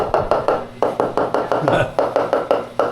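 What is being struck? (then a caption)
Ceramic floor tile struck with a wooden block. A homemade wooden block is used as a mallet to tap newly laid ceramic floor tiles, both to seat them flat and to listen for hollow spots. Fifteen quick, dry midrange knocks sound in a steady rhythm, each dying away almost at once.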